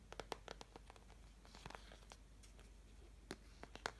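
Long fingernails scratch and tap across the wells of a medium-sized, hollow, empty white flower-shaped plastic mixing palette. Quiet, dry, sharp clicks and taps ring out over a soft, bright, scratchy crackle, with a faint low hum underneath. Each tap dies away almost instantly.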